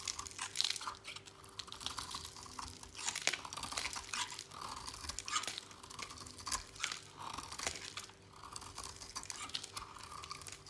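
A utility knife blade scrapes and shaves flakes off a dry, oval, solid teal "Beauty Skin" soap bar held in a hand with long nails. Dense, crisp scraping and crunching continues throughout, mostly bright and high with little low end, and includes many short dry clicks from the blade. A faint steady hum sits beneath.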